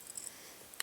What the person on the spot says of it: you can hear the ball going there